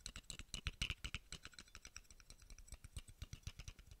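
A small, hollow, round steel screw cap is held up close to the microphone and tapped with fingertips and nails. It makes a quick, uneven run of about thirty short, bright clicks, each with a soft low thump underneath, and every tap dies away almost instantly.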